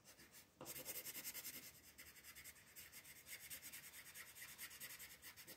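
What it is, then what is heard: Colored pencil shading on paper. A pink colored pencil is rubbed in short shading strokes across a white paper coloring page with a printed floral design, lying flat on a table while the other hand, with long nails, rests on the sheet. After a quieter start, a steady run of soft, bright, scratchy rasps follows in a loose rhythm, with most of the sound in the high range and almost no low end.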